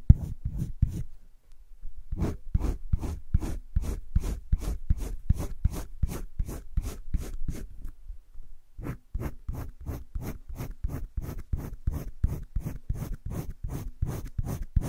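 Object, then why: Wooden colored pencil on sketchbook paper. A green wooden colored pencil rubs over a flat spiral-bound sketchbook page in circular shading strokes. It makes a steady, rhythmic run of short, dry scratching strokes with a soft low body and bright edges. The strokes pause briefly near the start and again before the end, then resume.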